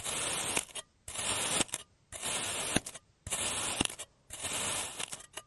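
A clear serrated plastic cutter slices a solid oval block of blue kinetic sand into thin layers on a green surface. Five separate strokes each produce a bright, grainy, hissing scrape lasting about half a second. Each scrape ends in a few soft clicks before a short pause.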